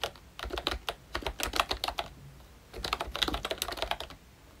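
A full-size ROYCHE Disney Mickey Mouse retro membrane keyboard with round plastic keycaps is typed on continuously with the fingertips of both hands. Quick, dry plastic clacks with bright, high-reaching edges and almost no ring come in two bursts separated by a short pause.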